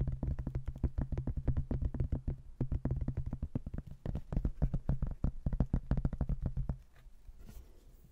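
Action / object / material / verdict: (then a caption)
tap / cork-backed hardboard placemat / cork, hardboard / none. Fingernails tap and scratch the cork back and the edge of a thin, solid cork-backed hardboard placemat with a laminated front. A rapid, steady run of dull, low, short taps keeps going for most of the clip. Near the end it fades to a quieter, soft scratching.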